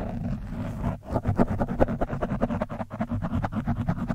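The tip of a screwdriver scratches the top of an orange foam windscreen on a microphone. The result is a fast, uneven run of muffled, rustling scrapes that are heavy in the low end and carry almost no high or bright content.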